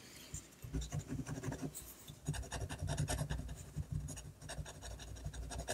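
A technical pen nib scratches ink lines across a flat sheet of drawing paper steadied by the free hand. Quiet, rapid scratchy strokes come in dense bursts, with a low rubbing body and bright ticks, pausing briefly before the drawing resumes.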